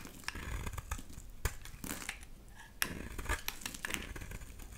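A blade scrapes thick flakes off the edge of a solid oval pink bar of soap held in the hand. It makes a run of short, dry, crinkly rasps and crisp clicks with bright edges, some sharper cuts standing out. Each stroke ends quickly with almost no ring.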